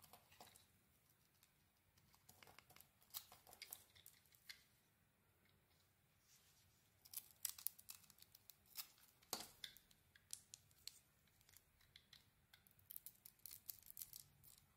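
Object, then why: Soap bar shaved with a metal blade. A solid white bar of soap with a grey coated surface and purple glitter is held in the hand and shaved with a metal blade. Quiet, crisp scraping and shaving strokes come in short, bright bursts with almost no low end. Some strokes are louder and sharper, with soft crumbly crackles between cuts.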